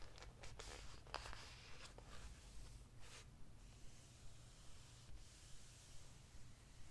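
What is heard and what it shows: Fingertips rest on, trace and rub across the glossy printed pages of a large hardcover history book lying open on one spread, with no page turned. Quiet dry brushing and scraping strokes with bright hiss come in short bursts over a steady low hum.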